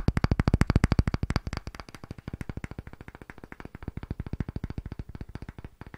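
A round, pale, solid-looking light wooden disc is tapped and scratched rapidly with fingertips and short nails. About 58 fast, dry, hollow knocks sit low in pitch around 98 Hz with almost no ring. They are loudest over the first second and a half, then continue more softly and a little unevenly to the end.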